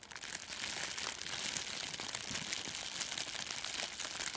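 A thin, clear, crinkly sheet of plastic cellophane gift wrap is held in both hands in front of a furry microphone windscreen and crumpled and scrunched with the fingers. It makes a dense, continuous crackle of bright, high crinkles with almost no low end, holding a steady level throughout.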